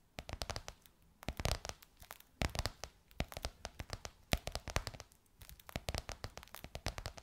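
Long white nails tap and scratch across a gold, crocodile-embossed faux leather pillowcase stretched over a soft pillow. Quick, dry clicks and crinkly scratches come in bursts separated by short pauses, each hit dying away almost instantly, with a soft low thump beneath the bright surface texture.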